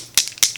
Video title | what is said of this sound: Rare Beauty Foundation: Wear Test + Review - Oily Skin | when you shake it it has a little ball in there